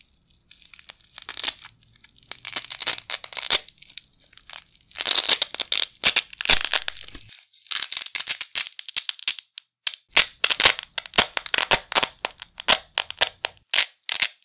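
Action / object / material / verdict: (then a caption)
scrape / nylon hook-and-loop fastener patches / nylon / none. A pair of small, flat red nylon hook-and-loop Velcro patches, held in both hands with the fingertips over a carpet, are repeatedly pressed together and pulled apart. Each pull makes a bright, crackling ripping sound, with longer drawn-out tears early on and quicker, sharper bursts later, separated by brief quiet gaps.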